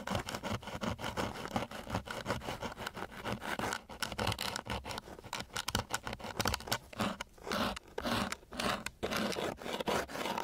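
A flat wooden stick, held at varying angles, scratches and rubs across a flat sheet of coarse, gritty sandpaper. Rapid, uneven strokes make a dry, broadband rasping scratch with bright grit and a low rumble underneath. Short pauses break up the continuous scraping.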